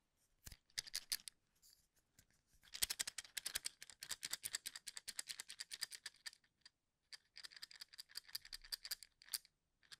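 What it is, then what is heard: Wooden toothpicks in a plastic cup. Fingertips tap and scratch across the ends of wooden toothpicks packed into a small cylindrical plastic cup held in one hand near the mic. The result is rapid runs of dry, bright clicks and crackly scratching, coming in bursts separated by short pauses, with almost no low end and no ring after each tap.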